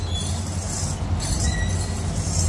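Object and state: Nothing is struck.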